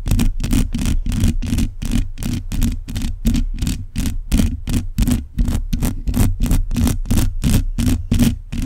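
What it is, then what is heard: Metal mesh microphone grille. Long nails on both hands scratch across the uncovered metal mesh grille of a black condenser microphone. The result is a dense, boomy scratching with a deep low rumble and bright hissy streaks on each quick, uneven stroke, running continuously at close range.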